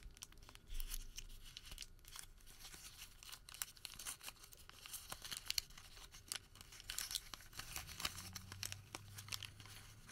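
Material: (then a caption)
Paper. A small folded white thermal receipt of thin paper is pinched, bent and crinkled between the fingertips of both hands. The result is a quiet, steady stream of bright, crisp crackles and papery rustles with sharp little snaps throughout, over a faint low rumble that grows toward the end.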